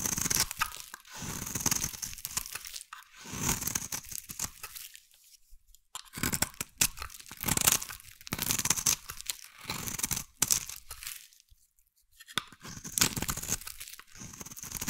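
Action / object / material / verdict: scrape / bar soap scraped with a metal blade / soap / none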